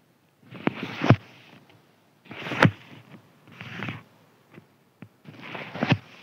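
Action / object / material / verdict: scrape / thin crinkly paper sheet / paper / none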